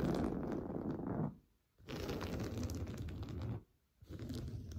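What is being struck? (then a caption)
Woven fabric sofa cushion. Short blue-painted fingernails scratch fast across the surface of a large, soft, stuffed beige woven-fabric sofa cushion. The scratching comes in three dense bursts separated by brief silences, producing a muffled, low, crackling rustle with little brightness.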